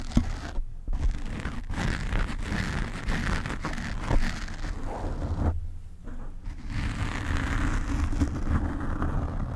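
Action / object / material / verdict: scrape / foam microphone windscreen / foam / none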